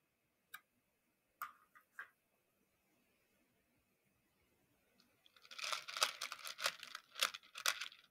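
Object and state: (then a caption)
Plastic beads stirred in a plastic dish. A makeup brush handle is pushed into a shallow round clear plastic dish full of many small colorful plastic pony beads and stirs them, scratching the beads against each other and the dish. A few sparse, bright clicks and short rattles come first, then near-silence, then a dense, bright, crunchy rattling of beads fills the last three seconds.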